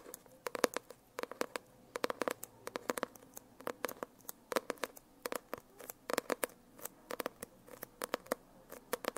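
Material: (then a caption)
Foil-laminated card. Long nails tap and scratch the glossy cover of a closed hardcover notebook with a shiny holographic foil cover and embossed lettering, held upright. Quick, dry clicks come in rapid clusters, each with a faint hollow tone around 490 Hz and a bright, crisp edge. There is almost no low end, and the taps die away instantly.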